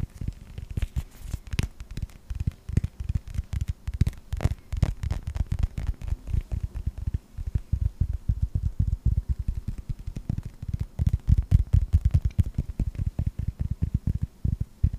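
A hand-sized, hollow yellow rubber toy ball with a blue stripe and a red star is rotated in the hands and tapped rapidly with the fingertips. The taps are soft, dull, low thumps with almost no ring, coming in an uneven but steady stream of many light hits.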